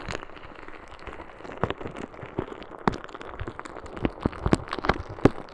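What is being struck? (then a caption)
Plastic bag filled with small beads. A clear plastic bag filled with small green beads is held in one hand beside the microphone and squeezed and shaken by fingers with long red nails. A soft, steady crinkle runs throughout, broken by irregular sharp crunchy clicks and crackles that grow a little louder and more frequent toward the end.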